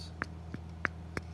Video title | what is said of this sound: Inspect your Canning Lids - Defective Lids / False seals | that's usually how you can tell when a can is sealed is when you hear that ting sound